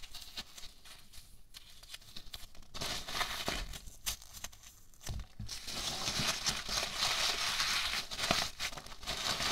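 Fingertips and nails pinch, scratch and rub a large heap of small white polystyrene foam packing peanuts, producing a dense, bright crinkling and squeaky rustle. The scratching comes in quick, uneven bursts and grows louder and more continuous in the second half.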